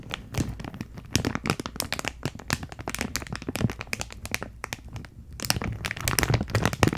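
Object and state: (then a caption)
Plastic packaging bag with card header. A clear plastic packaging bag with a teal cardboard header is held in both hands while long nails crinkle and tap the plastic and the card. The result is a dense run of sharp, bright crackles and crinkles with a low rustle beneath. The sound briefly quiets around the five-second mark before growing louder toward the end.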